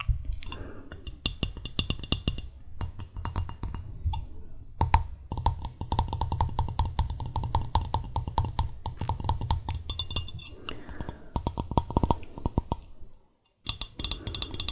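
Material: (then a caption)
Glass. Long red-painted fingernails rapidly tap a small, clear, empty-looking glass mug with a handle, held in both hands close to the microphone. The dense run of short, bright clicks has a faint glassy ring and a soft low thump under each tap. The tapping briefly stops near the end and then resumes.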